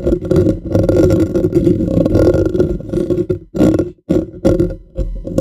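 Fingernails of both hands rapidly scratch and tap a bare, hollow black metal mesh microphone grille. The result is a dense, rough scraping rumble with a hollow low-mid tone, dropping out briefly twice before resuming.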